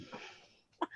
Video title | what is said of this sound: Beyond The Cloud Oct 18, 2019 | Let's knock on wood. I've got real wood I'm knocking on for you. Oh, there's the real wood.